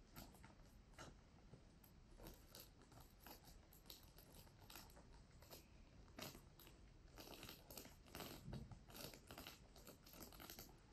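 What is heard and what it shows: A pink plastic sequin-covered fabric pouch is held upright in both hands while long nails scratch and rub across the sequins. The result is a quiet, continuous scratchy rustle broken by many quick, bright ticks and clicks of the sequins, with a low rumble underneath.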